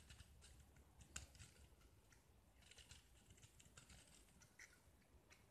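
A small solid gypsum plaster disc painted blue is held in the fingers and scraped with a metal utility knife blade, shaving off white curls. Quiet, dry, bright scratching strokes rasp in short bursts over a faint low rumble, with one sharper click early on.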